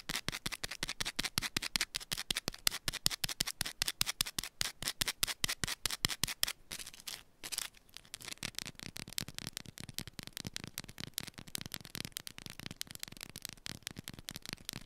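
Long pointed nails rapidly scratch and tap a small solid yellow bar of soap held in one hand. The result is a fast, dense run of dozens of sharp, bright clicks and scrapes with almost no ring. A brief pause falls just before the eighth second, then the tapping resumes slightly softer.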